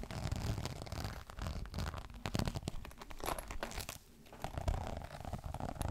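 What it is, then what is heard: Faux leather clutch being scratched. A green crocodile-embossed faux leather clutch is handled flat and then held upright while both hands scratch its surface with fingernails. Dense, rapid crinkling and scraping strokes carry a heavy low-end rumble, with a brief quiet gap near the four-second mark before the scratching resumes.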